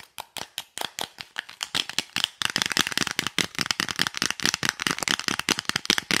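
A small, hollow, rectangular printed cardboard lipstick box is handled and tapped with long nails, and may be shaken. Sharp, dry, bright clicks start out spaced apart, then speed up into a dense, rapid clatter. Each tap dies away almost instantly with little low end.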